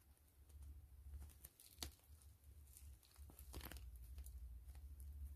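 Long fingernails tap and scratch the surface of a gray PVC grid-mesh zipper pouch held upright. Sharp, bright clicks and scratchy crinkling come at an irregular pace over a steady low hum.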